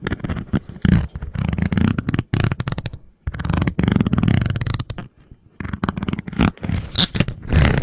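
Long painted nails rapidly tap the glossy, likely plastic cover of a small blue spiral notebook held in the hands. The taps come in quick, dense bursts with brief pauses, making dull, low-heavy clicks and soft scratchy rustles that die away almost at once.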